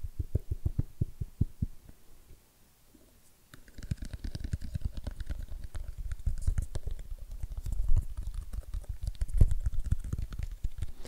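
Fingertips tap on the lid and sides of a small, hollow, rigid white cardboard iPhone XS Max box held and turned in both hands. The taps are dull, low and hollow, each dying away almost instantly, coming in an uneven run, pausing nearly silent for about a second and a half, then returning denser and busier with faint bright clicks above them.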